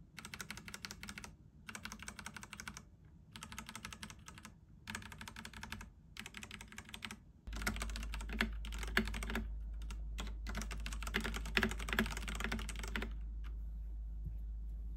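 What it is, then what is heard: Mechanical keyboard with plastic keycaps. A full-size pink and navy Ducky One 3 mechanical keyboard with Cherry MX Red switches and plastic keycaps sits on a wooden desk while fingertips press and tap the keys in rapid typing. Short bursts of sharp, clacky keystrokes are broken by brief pauses. About halfway through, the typing becomes louder, denser and continuous as two hands type across the whole keyboard, with a steady low hum underneath.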